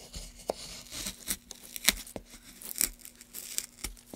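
A gouge held in gloved hands scrapes along the grooves of a solid pale softwood block. The sound is a series of short, dry, bright scraping and tearing strokes with very little low end, each dying away almost instantly. There is a faint steady hum underneath.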